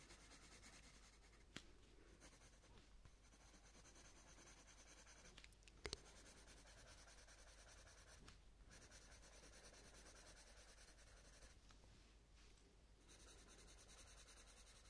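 A purple coloured pencil is rubbed in shading strokes over the lower petal on a paper colouring book page. A quiet, steady, scratchy rubbing continues throughout, with a few brief sharp clicks standing out, the loudest near the six-second mark, and short pauses between strokes.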